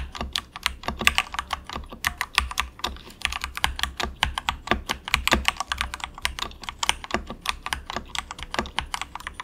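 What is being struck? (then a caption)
Plastic mechanical keyboard. Both hands type softly and continuously, fingertips pressing the keys of a compact, inexpensive plastic mechanical keyboard resting on a desk mat. The result is a steady stream of short, bright clacks that ring around 2.7 kHz and die away almost instantly, over a faint low hum.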